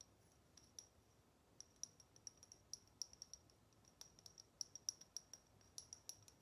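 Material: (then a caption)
Chrome metal. Long nails tap and click on the base of a small, hollow chrome metal salt shaker shaped like a cat, held with its bottom turned up. The result is a quiet, uneven run of sharp, bright metallic clicks, each with a thin high ring that dies away almost instantly, over a near-silent background.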